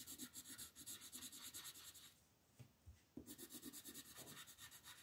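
A green wooden colored pencil shades leaves at the upper right of a flat printed paper coloring sheet on a table. Quick back-and-forth rubbing strokes make a bright, scratchy hiss, pause for about a second with a couple of faint soft taps, then the rhythmic strokes resume.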